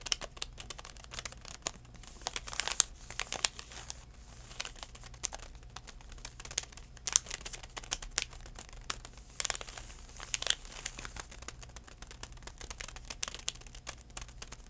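A DenTek retail package, a plastic blister with a cardboard backing, is held flat while fingertips tap and crinkle it. Dense, bright crinkling and dry, short plastic clicks continue throughout the clip, with a low steady hum underneath.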